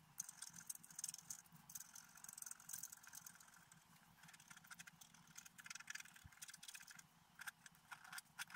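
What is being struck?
Black-coated scratch-art paper card scraped with a wooden stylus.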